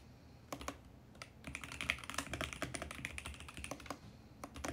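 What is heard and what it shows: Fingertips type steadily on a VGN X68 compact mechanical keyboard with plastic keycaps. A few scattered clicks give way to a dense run of sharp, bright, clacky keystrokes that ring briefly around 2 kHz. The typing thins out, then a few last strokes come near the end.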